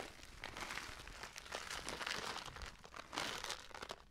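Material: Paper.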